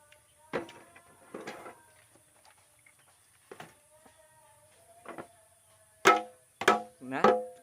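A used polycarbonate car headlamp lens is tapped several times, each tap giving a loud, bright, ringing knock with the last three strikes the strongest. The hard, ringing sound marks the lens as polycarbonate, a plastic that will not ignite when burned.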